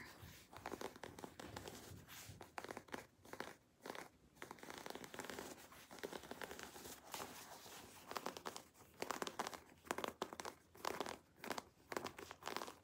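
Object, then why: Quilted leather jacket. Fingertips and nails scratch and rub the quilted panel of a black quilted leather jacket held up close. The result is a quiet, bright, crinkly scratching with rapid bursts of rubbing strokes and short pauses between them.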